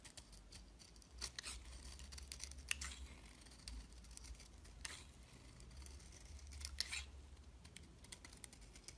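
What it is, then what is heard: Bar soap being shaved with a blade. A metal utility knife blade shaves and scrapes curls from a rectangular, solid white bar of soap with blue specks held in the hand, and the shavings pile up around it. The soft, steady scraping is punctuated by crisp, bright cutting scratches over a low background rumble.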